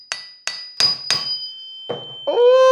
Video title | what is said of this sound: I Tested Every "Unbreakable" Product | Ah, o çınlamaya dayanamıyorum. Birkaç küçük iz yaptık ama kupa sağlam.